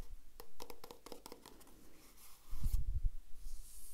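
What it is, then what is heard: Plastic cosmetic tube. Long red-painted nails and fingertips tap and scratch a small, apparently filled green and white plastic squeeze tube of eye-contour gel held up close. A quick run of light, bright clicking taps gives way to a soft scratchy rasp, then a burst of low, muffled thumps and handling rustle before fading into faint hiss.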